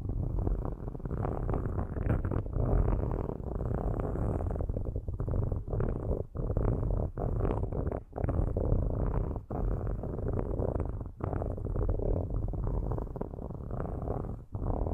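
Straight metal sticks scratch and rub across the metal grilles of two microphones. The result is a dense, continuous, low rumbling scrape with almost no high content, broken by brief gaps where the strokes pause.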